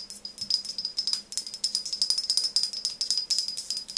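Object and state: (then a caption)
Frosted glass pump bottle. Long nails tap rapidly on the front and sides of a tall OSEA frosted glass pump bottle with a metal-look pump top, partly filled with liquid and held in one hand. The result is a fast, uneven stream of short, bright clicks, each with a thin, high glassy ring that dies away almost instantly. A faint low hum runs steadily underneath.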